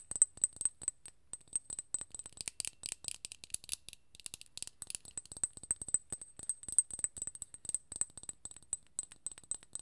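A small, full glass serum bottle with a gold cap is tapped and scratched with long nails. The result is a rapid series of crisp, bright clicks and ticks with a steady high ringing tone, plus a stretch of denser scratching in the middle.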